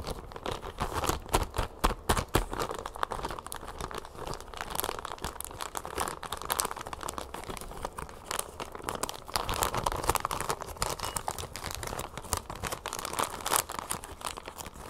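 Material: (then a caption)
Plastic. Long nails scratch, crinkle and fold a clear plastic bag of brown sugar closed with a red twist tie, resting on a table. A dense, steady stream of crinkling and crackling is heard, with rapid, irregular sharp ticks over a midrange body and bright, papery high edges for the full length.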